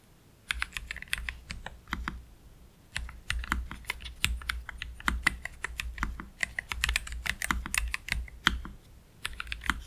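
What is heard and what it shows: Slow fingertip typing with both hands on a black Keychron K3 Pro low-profile mechanical keyboard with Gateron Red low-profile switches and plastic keycaps, resting on a desk mat. Short, bright clicky keystrokes come in uneven bursts with brief pauses, each dying away almost instantly. A steady low hum sits underneath throughout.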